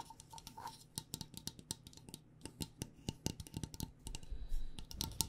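Long nails tap a glass mason jar filled with loose tea, striking both the glass and the area near its metal screw lid, which is covered by a floral fabric. Around 27 quick, dry, clicky taps are heard, each with a bright tick over a soft low thud and almost no ring. The quiet taps come in an irregular, rapid pattern.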